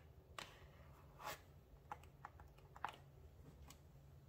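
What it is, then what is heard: Paperboard box tapped with nails. Long nails tap and scratch the faces of a small, hollow, dark blue printed paperboard product box held in the hands. Quiet, irregular, short dry clicks with a hollow papery tone around 830 Hz stand out above a faint low hum, with brief scratchy swishes between the taps.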